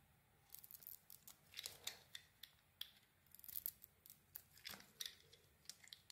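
A metal utility blade carves and shaves curls from the edges of a solid, hand-sized pale peach bar of soap held in a hand with green nails. Quick, irregular, crisp cutting and scraping strokes come through quietly, bright and high with almost no low end, and each stroke stops short.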